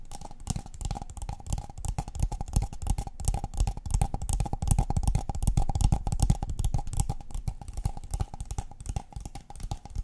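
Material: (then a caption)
Paper. A tall, empty, hollow brown kraft paper cup is held in one hand and tapped with the long painted fingernails of the other. The taps come as a fast, uneven stream of short, dry clicks over a deep, hollow thump, with a steady mid-range tone running underneath. Each hit dies away almost instantly.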